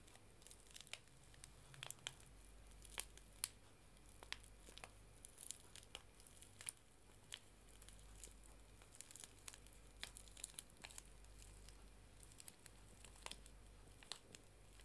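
A small, flat paper Clipper white tea sachet is held in both hands while long, dark-painted nails and fingertips crinkle and scratch it. The result is soft, dry crackling broken by many sharp, bright clicks and scrapes, over a quiet, steady low hum.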